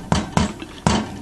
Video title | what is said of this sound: Baking Zopf Bread | when you tap on it with a spoon it does have a hollow sound to it and it'll sound distinctly different from when you first put it in the oven